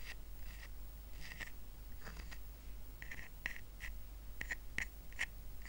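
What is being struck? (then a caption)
Woven rattan coaster. Fingernails scratch the woven surface of a small, round, flat rattan coaster resting on a blanket. The result is a series of short, dry, scratchy strokes with a papery rasp centered around 2 kHz and brighter hiss above it. A faint, steady low hum sits underneath throughout.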